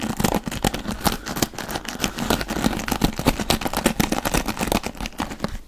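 Fingertips rapidly scratch the dark bristles of a wooden paddle hairbrush held close to the microphone. A dense run of crisp, crackly scratches with bright bristle ticks and a soft low rumble fills the clip, each stroke dying away almost instantly.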